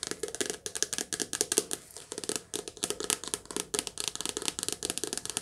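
Long nails tap fast on the glossy cover of a softcover paperback book held in the hands. A quick, uneven run of short, dry, bright clicks with small pauses, each stopping almost at once, with little low end.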